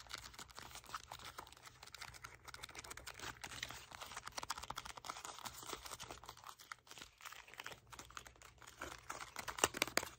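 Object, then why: Small cardboard box. A small, hollow red cardboard box is gripped in both hands while fingertips and nails tap and scratch its sides. The result is a quiet, irregular stream of dry, crackly taps and scrapes that are bright and papery, with almost no low end. Each tap dies away at once.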